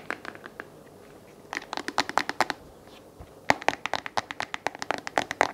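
A small white plastic LED desk lamp with a flexible gooseneck and a hollow oval base is held in hand while fingertips and nails scratch and tap the base. Crisp, bright plastic clicks and scratchy taps come in two quick bursts separated by a short quiet pause. Each tap dies away almost instantly, with a hollow mid-range tone and almost no low end.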